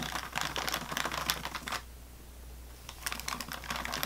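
Long fingernails tap and scratch an unopened sleeve of saltine crackers in thin plastic or waxed wrap lying on a table. Quick, crisp, bright clicks and crinkly scratches come in an irregular burst, stop for about a second of near-quiet over a faint low hum, then start again.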